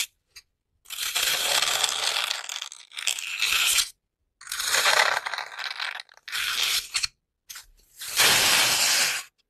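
Long nails and fingertips repeatedly poke into the top of a large, solid, porous grey-green floral foam brick, punching small holes in it. The result is dense, bright, crunchy crackling that comes in five sustained bursts separated by brief silences, with almost no low end.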